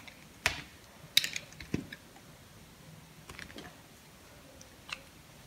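A small knife blade shaves thin slices off a solid purple soap bar held in the palm, and the slices pile up on the table. Several sharp, bright, crisp cutting clicks and short scrapes sound at irregular intervals over a quiet background, each dying away almost instantly.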